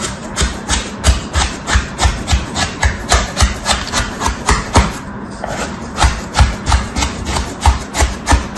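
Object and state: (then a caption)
Kinetic sand cut in a plastic tray. A red plastic tool held by hand slices and scrapes in cutting strokes through a packed, pattern-stamped slab of kinetic sand in a teal plastic tray. About eighteen soft, gritty crunches come in a steady rhythm, each with a dull low thump and a bright sandy hiss, with a brief lull midway.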